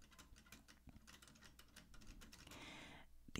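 A black vintage Remington portable typewriter with a hollow metal body and round keys is typed on rapidly by fingertips, producing a quick series of quiet key taps and mechanical clacks. A brighter, sustained rattle swells near the end before the hands lift away, closing with a final sharp clack.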